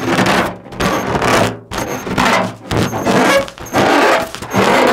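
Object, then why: Inflated latex balloon. Long nails tap and scratch a large, hollow, inflated orange latex balloon held in front of the microphone. The result is a series of broadband, rasping scrape bursts with thin rubbery squeaks around 500 Hz, separated by brief quieter gaps.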